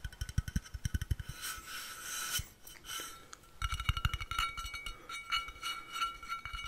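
Fingertips and nails tap the screw cap and body of a tall, hollow, blue-painted stainless steel water bottle, about 50 cm long, held close to the mic. Quick, dull low knocks carry a faint metallic ring, with a brief scratchy rubbing stretch in the middle before the rapid tapping resumes.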